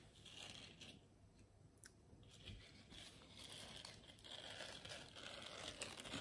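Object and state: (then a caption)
Silicone scrubber pad. Long nails scratch and rub across a small, flexible, round blue silicone scrubber pad with a bristle texture. The result is a quiet, continuous, bright scratchy rasp with crinkling, tearing-like texture that swells and fades slightly as the strokes continue.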